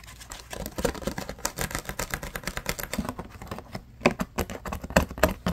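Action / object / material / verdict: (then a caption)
scrape / clear rigid plastic blister pack / plastic / none. Fingertips and nails rapidly scratch and tap a hollow, hand-sized, yellow-tinted clear rigid plastic blister pack. The result is a dense run of short, dry clicks and crackly scratches with bright edges and almost no ring, with a few louder taps standing out near the end.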